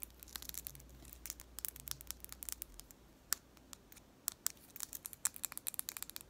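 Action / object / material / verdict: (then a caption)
tap / painted wooden pencil / wood / none. A long, sharpened solid-wood pencil with purple paint is held between the hands while long nails scratch and tap along its shaft. The result is a fast, irregular run of sharp, dry, bright clicks and light scratches with almost no ring, over a quiet, steady low hum during the first half.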